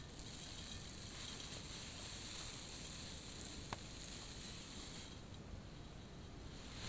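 Fingers dig into, grab and stir white artificial plastic snow filling a large glass bowl. A steady, soft, sizzling hiss with bright crackle runs throughout over a low rumble, broken once by a brief sharp tick midway.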